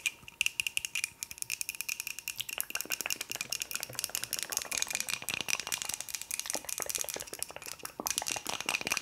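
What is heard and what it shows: A wooden cup is tapped quickly with the fingers, producing a dense stream of fast, dry clicks. The taps are bright and thin with almost no low end, each dying away instantly, over a faint steady ringing tone near 2.7 kHz.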